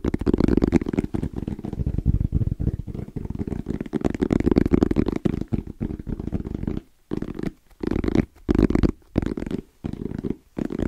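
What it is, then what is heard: EVA hard-shell zipper case. Fast fingertip and nail tapping and scratching on the lid and sides of a small black rectangular zippered EVA hard-shell case with orange trim and a wrist strap; the fabric-covered shell is hollow and closed. The result is a dense, muffled, low-pitched rustling patter that runs almost continuously for the first six seconds, then breaks into short bursts separated by brief silences. The taps are dry, with no ring, and there is little bright content.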